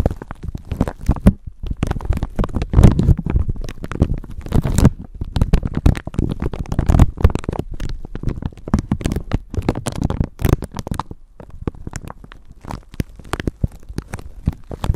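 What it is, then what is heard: Clear plastic bag being crinkled. A thin clear plastic bag wrapped over a microphone is rubbed and crinkled with long nails. The result is dense, continuous crackling and scratching, mostly low and muffled, with a deep rumbling handling noise from the microphone underneath.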